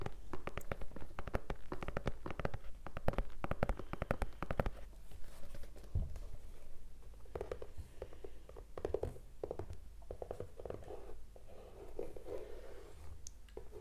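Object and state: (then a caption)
Leather sneaker. Fingertips and nails scratch and rub along the side and toe of a single white leather low-top sneaker with laces, hollow and empty, held close to the microphone. Fast, dense scratching and light tapping fill the first few seconds, then ease into softer, slower rubbing broken by short bursts of scratches, all with a low, muffled body.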